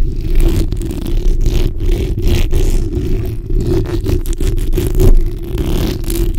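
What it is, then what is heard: Metal mesh microphone grille being scratched. The backs of long nails scratch a black, hollow steel mesh microphone grille while a hand sweeps over the top. The result is a dense, continuous low rumbling rasp with a steady hum-like tone near 336 Hz and short, quickly fading scratchy bursts layered throughout.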